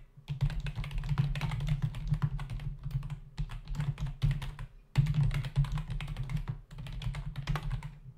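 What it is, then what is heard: Plastic membrane computer keyboard. Both hands tap with their fingertips on the plastic keys of a black plastic membrane computer keyboard with a hollow body, resting on a desk. The result is fast, continuous typing: dense, soft, low, thumpy clacks with short bright clicks on top. Brief pauses break the flurries near the middle and just before the end.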